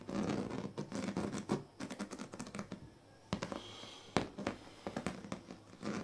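The tail and teeth of a pink plastic comb are scraped across the strips of a large, flat, woven plastic sleeping mat. The result is dense, rapid scratching and rasping with a low, papery body, broken by sharp clicks and a brief quieter pause around the middle.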